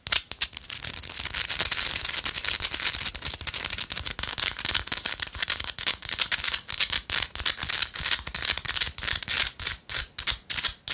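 Long light-blue acrylic nails rapidly scratch a small, solid, pinkish-orange Himalayan salt rock held in the hand. The result is a dense, dry, bright rasping with almost no low end, built from quick overlapping strokes. Toward the end, the strokes become more separated and distinct.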